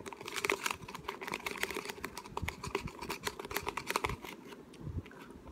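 A small, hollow, clear plastic water bottle with a white cap and a paper label is held in both hands and tapped and scratched with fingertips and short nails. Rapid, dry, crinkly clicks and scratches with a bright edge are heard, with no ring after each hit.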